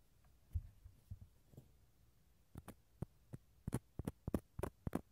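A small hollow dried gourd, cut in half and held in the hand, is scratched along its rough fibrous inner surface with a wooden toothpick. Short, dry, soft scrapes come at an uneven pace, sparse at first and then quicker and denser toward the end. Each scrape has a hollow low body with brief bright edges.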